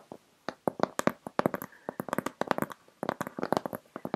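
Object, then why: Corrugated cardboard box. Long red acrylic nails and fingertips tap and scratch the taped top of a closed, corrugated cardboard shipping box resting on a lap. About two dozen short, dry, hollow midrange taps come in quick irregular bursts, with brief scratchy strokes between them and almost no ring after each hit.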